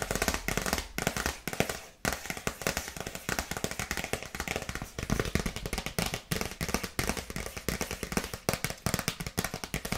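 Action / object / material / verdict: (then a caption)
tap / paper gift bag / paper / none. A dark polka-dot paper gift bag with a bow is tapped quickly with long nails. The result is a dense, continuous stream of crisp, papery clicks and crackles with a very short ring, spread across the whole 10 seconds at a fairly even level.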